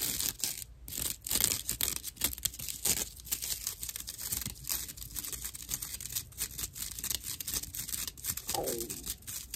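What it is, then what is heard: Dry natural loofah sponge. Long nails and fingertips of both hands scratch a dry natural loofah slab with a cord loop. The result is a steady run of rough, bright, crackly scratching strokes with a papery tearing quality, mostly high-pitched with little low end.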